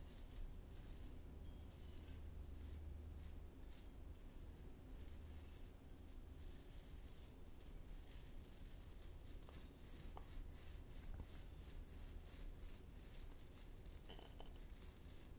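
Fingertips and nails rub and scratch across the tips of a hand-sized oval brush with stiff tan natural-fiber bristles. The result is a steady, quiet, crackly scratching texture over a constant low hum, with a few faint clicks along the way.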